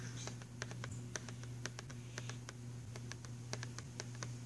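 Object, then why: Cardboard box filled with pencils. Fingernails rapidly tap and scratch on the cover of a filled, printed cardboard box of pastel pencils. Quick, dry, bright clicks and light scratches patter irregularly and die away almost instantly, over a steady low hum.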